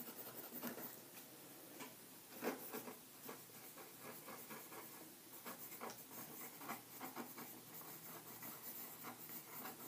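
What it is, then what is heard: Pencil writing on paper in a ring binder. A green mechanical pencil held in the fingers writes across a stack of white lined paper sheets in an open ring binder on a table. It makes quiet, dry, bright scratching strokes, with short rapid bursts and a few slightly louder scrapes throughout.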